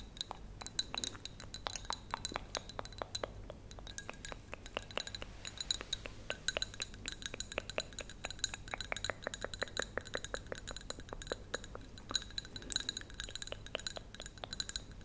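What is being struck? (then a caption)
Small clear glass cup. Long painted acrylic nails tap and click rapidly on the sides and rim of a small, hollow clear glass cup or bowl that appears to hold some liquid, held in both hands close up. The result is a steady stream of sharp, bright clinks and clicks with almost no ring, over a faint low hum.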